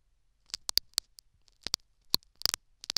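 A metal syringe needle repeatedly scratches and pokes the foam plug inside a silicone dummy ear. It produces about ten quiet, sharp, bright ticks and crackles that stop instantly, with almost no low end.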